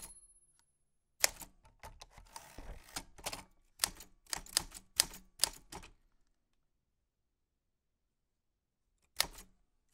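White-gloved fingertips press the round keys of a black 1940s Smith-Corona portable typewriter with a metal body and paper loaded. Key clicks and sharp typebar strikes come in an uneven run of bright, dry snaps, then fall silent for a few seconds before one last strike.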